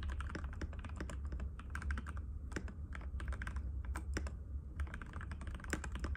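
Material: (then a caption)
Plastic. Fingertips of both hands type continuously and rapidly on a compact cream-white mechanical keyboard with plastic keycaps and a hollow case, resting on a glass table. Dense streams of short, crisp clicks and clacks ride over a steady low hum, with brief bright transients on the sharper keystrokes.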